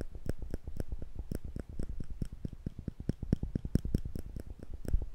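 Small, thin steel tweezers are held in the fingertips between two microphones without touching them, and the fingers squeeze the arms so the metal tips click against each other over and over. The result is a quick, uneven stream of short, dry clicks with no ring, mostly low and thumpy with faint bright ticks on top.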